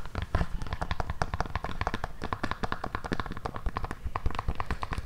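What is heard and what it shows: Long nails tap and scratch the tan, hard synthetic sole of a black suede pointed pump shoe held close to the mic. The result is a steady stream of quick, dry clicks with no ring, mixed with soft scraping and a dull low thump beneath.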